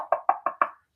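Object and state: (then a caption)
Thin porous clay figurine with a wood-like tap. A thin, porous clay donkey figurine is tapped four times, each tap giving a short, dry, hollow knock centered around 1.1 kHz that dies away quickly. The clay sounds like wood rather than ringing like typical pottery.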